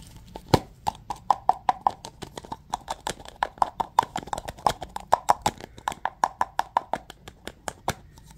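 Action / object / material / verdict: tap / aluminum aerosol can with plastic cap / aluminum / none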